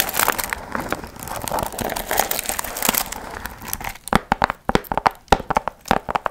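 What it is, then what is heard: Foil-fringed paper piñata. Long nails scratch and crinkle the gold foil fringe on a medium hollow paper pumpkin piñata, making a dense, bright crinkling rustle for about four seconds. It then breaks into a quicker series of separate, sharp crackling scratches.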